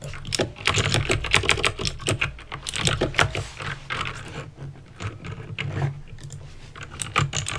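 Fingertips with painted nails type slowly on a backlit plastic mechanical keyboard with clicky green switches. Each keystroke is a sharp, bright click over a low hum. The taps come in an irregular stream at a steady, unhurried pace.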